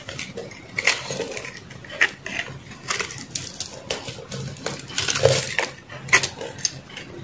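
A metal knife scrapes and cuts crumbly flakes from the edge of a solid white soap block held in the palm. The result is a run of dry, crunchy scraping strokes with bright, crisp texture and brief, sharper clicks as flakes break away.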